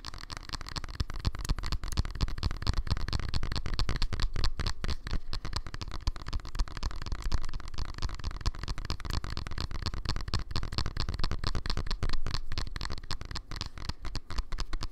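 Fingernails tap rapidly and continuously on a small black cylindrical Bluetooth speaker with a hollow plastic body, held upright in both hands. The taps blend into a dense, dull, low-heavy patter with short, clicky attacks that die away almost at once.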